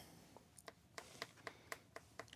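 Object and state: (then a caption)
Melon in its second swelling stage. A melon on the vine in greenhouse No. 2 is tapped nine times, each tap a short, crisp knock with a bright ring around 2 kHz that dies away almost instantly. It sounds different from the previous melon, showing this one is in its second swelling stage and has loosened well.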